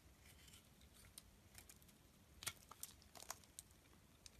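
A box-cutter blade shaves thin layers off a solid blue rectangular bar of soap held in the hand. The result is quiet, dry scraping with irregular bright, crisp crackles and snaps scattered over a soft hiss, each one dying away almost instantly.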